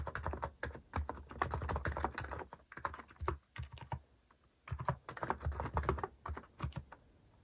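Fingertips type fast and continuously on a compact white-cased mechanical keyboard with plastic cat-themed keycaps. The result is a dense run of short, dull, low-weighted clacks with almost no ring, broken by brief pauses near the middle before the typing resumes.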